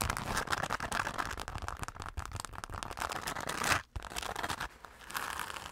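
A hollow, dark glitter-coated fabric zipper pouch is scratched and tapped with long nails on its face and along its zipper edge. Fast, irregular crinkly scratches and sharp taps run densely together, broken by a brief near-silent gap just before the four-second mark. The scratching then resumes more softly.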